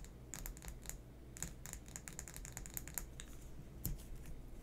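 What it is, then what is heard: Plastic lip gloss tube. A small, hollow pink plastic lip gloss tube with a white label is held in both hands and tapped and scratched with fingernails. Quick, bright, dry clicks and light scratches come in a rapid, irregular series, each dying away almost at once. A steady low background rumble runs underneath.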